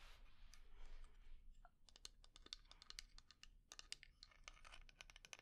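Long nails scratch across a small, round, dark lacquered wooden jar with inlay, which is hollow and closed, making a soft, breathy rasp. They then tap its body in a quick, uneven run of sharp, bright clicks that stop dead with almost no ring.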